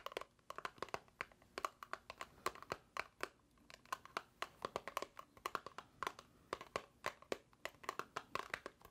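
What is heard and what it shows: A small, hollow white paperboard box held in the hands is tapped and scratched with long nails in a steady stream of dozens of quick, dry taps. Each tap is short with almost no ring and a hollow papery tone centered near 1.1 kHz, with faint scratchy crinkles between the taps.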